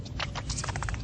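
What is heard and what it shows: A shiny orange copper metal piece is banged on to compare it with aluminum. The result is a rapid series of sharp, clicky taps with bright bursts over a steady low rumble, each dying away quickly with little ring.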